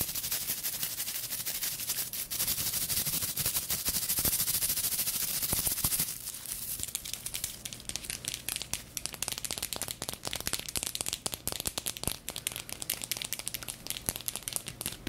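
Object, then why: Round brush with wooden base and natural bristles. Long nails rapidly scratch and flick the stiff natural bristle tips of a small round brush with a wooden base, held close to the microphone. The result is dense, bright, crackling scratches and sharp clicks. The sound is steady and loud for about six seconds, then drops to a quieter, sparser stream of flicks.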